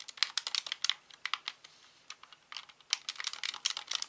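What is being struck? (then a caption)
Plastic game controller. A hollow plastic Xbox controller lying on a rug has its buttons tapped and clicked with fingertips. The result is a quick, uneven run of sharp, dry, bright clicks with almost no low end and no ring after each one.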